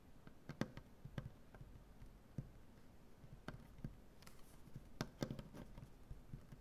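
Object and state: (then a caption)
Solid maple butcher-block table. Both hands tap fast with the fingernails on a large solid maple butcher-block tabletop. Quiet, dry, short taps patter in an irregular stream, with low, woody thumps and a few sharper clicks standing out. Each tap dies away almost at once.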